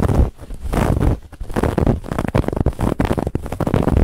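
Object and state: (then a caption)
Fabric pillow scratched. Long fingernails scratch quickly across a soft, stuffed white fabric pillow with a woven textured band. The result is a dense, rough, continuous scratching with a heavy low rumble, rising and falling in bursts with a few brief dips.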